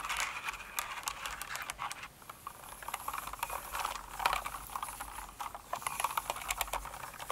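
Long nails type and rub across the plastic keycaps of a mechanical keyboard, producing rapid, light clicky taps mixed with faint scratching. The clicks are bright and short, centered around 1 kHz with crisp high edges and almost no low end, in a steady, uneven patter.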